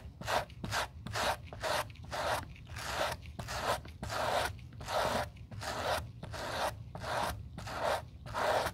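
A gloved hand scrubs the upper of a hollow black suede Gucci loafer with a gold horsebit, resting on a towel, using a white-bristled suede brush. Repeated back-and-forth bristly rasping strokes come in a loose, uneven rhythm, each a dry, airy scrape with a mid-range body that stops quickly without ringing.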